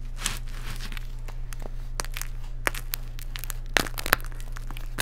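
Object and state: Baked baking soda cake.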